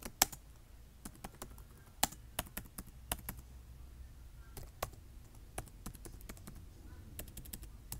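Fingertips type and tap on the keys of a black plastic laptop keyboard, making short, sharp, bright clicks at an uneven pace, with a few louder taps standing out. A faint low hum sits steadily beneath the quick keystrokes.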